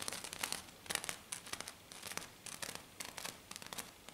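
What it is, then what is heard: Glitter-coated sheet. Long black nails of one or both hands scratch and tap fast on a flat silver glitter-coated sheet. The result is a quiet run of bright, gritty scratches and sharp taps in irregular bursts, with almost no low end and no ring after each stroke.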